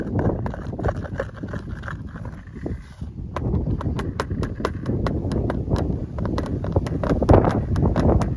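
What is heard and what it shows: Fingertips tap on the lid of a hollow clear plastic lure organizer box, a compartment tray holding several fishing lures. Rapid, irregular hollow knocks with short bright clicks briefly thin out near the three-second mark, then resume more densely and a little louder to the end.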